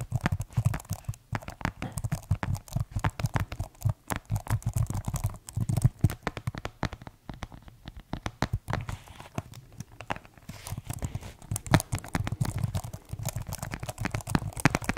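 Fingertips tap rapidly on the keys and plastic panel of a white plastic keyboard case, making a dense, uneven stream of short, dull clicks and knocks. The sound is mostly low and muffled with little brightness, and each tap dies away almost at once.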